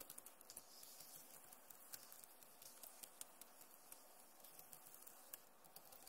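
Both hands type fast with fingertips and long nails on the plastic keys of a backlit Acer laptop keyboard. Quick, light, bright clicks patter in a dense stream, with around twenty sharper taps standing out over a soft, low hiss.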